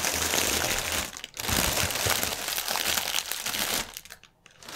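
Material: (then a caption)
Plastic film. Fingertips and nails rub and press a flattened strip of clear plastic air-cushion packaging film with green print, resting on a white table. The result is dense, bright, continuous crinkling with crisp crackles. It briefly drops off just after one second and again near the end before resuming.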